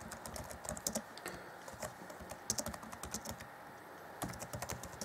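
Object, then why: Plastic laptop keyboard. Fingertips of both hands type rapidly on the black plastic chiclet keys of a grey Acer Chromebook C20 (2014) laptop keyboard deck. Quick, bright plastic clicks come in dense bursts, with short pauses near the middle and before the last burst. Each tap dies away almost at once.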